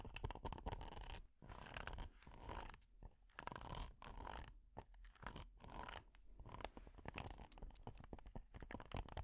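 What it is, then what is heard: Silicone pot holder being scratched. Long nails and metal finger picks scratch a flat, flexible red honeycomb-textured silicone pot holder. The result is quiet, dense, crunchy scratching in rapid bursts with brief pauses, over a low rumbling undertone.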